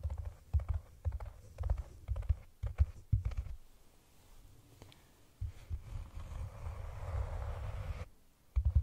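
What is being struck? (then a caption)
Cork cylinder container. Long nails tap and scratch the top of a hollow, round brown cork cylinder container held over the microphone. A quick series of short, deep, hollow thumps comes first, then a stretch of softer, steady scraping, and it ends with a couple more low taps.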